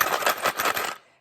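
A plastic sensory bottle with coins inside is shaken, giving a bright, continuous metallic rattle of coins tumbling against each other and the bottle walls. The rattling comes in loose bursts for about a second, then stops.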